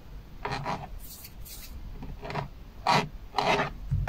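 Fingertips and an open hand rub, tap and scratch across the large, hollow airbag hub cover and spokes of a Chevrolet steering wheel with a black plastic/polyurethane rim. Raspy, filing-like scratching strokes come in uneven bursts, with soft, bright hissy rubs between them. The strokes swell louder toward the end and finish with a dull low thump.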